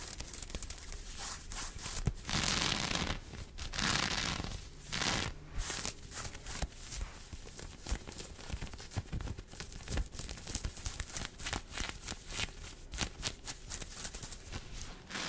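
Fingertips and long painted nails scratch and rub across a teal long-sleeve cropped top of smooth, tight-fitting synthetic stretch fabric with contrast stitching, worn on the torso. Dense, bright scratchy rustling fills the clip, with longer hissing rubs early on and then quick, crisp scratching strokes with sharp clicks.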